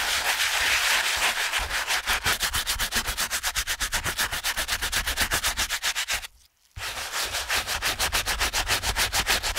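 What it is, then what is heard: Canvas shoe being scrubbed. A wet, foamy TOMS canvas slip-on shoe upper, held in a gloved hand, is scrubbed back and forth with a stiff-bristled shoe brush, making rapid, steady bright scratchy rubbing strokes on the fabric. The scrubbing briefly stops for about half a second, then resumes at the same quick pace.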